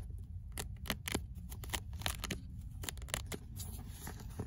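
Fingernails scratch the rough page edges and cover of the same old paperback book, then move on to the pages inside. Short, bright, papery scratches burst out over a steady low rumble.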